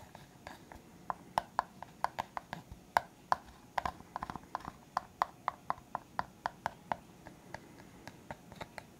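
A clear, hollow, empty disposable plastic cup is held up and tapped and scratched with the fingertips. Around thirty short, quiet, crisp taps ring at a hollow tone near 920 Hz and die away almost instantly. Soft scratching fills the gaps between them.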